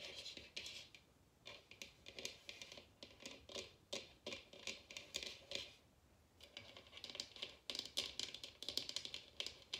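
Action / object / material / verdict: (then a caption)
tap / bamboo bowl / bamboo / none. A large, empty, hollow bamboo wooden bowl sits open side up while its inside and rim are tapped and scratched with long red nails. Quick, dry, bright clicks and scratchy scrapes come in clustered bursts with brief pauses between them. Each sound dies away almost at once, with very little low end.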